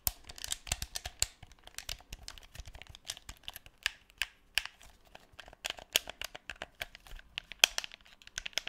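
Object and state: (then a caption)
Plastic game controller. A black, hand-sized, hollow plastic PS4 DualShock 4 controller is held close to the microphone while fingertips press and click its buttons and tap and scratch its shell. The result is a quick, uneven stream of dry, bright clicks and ticks mixed with crisp, crinkly scratching. The sounds have almost no low end, and each one stops at once with no ring.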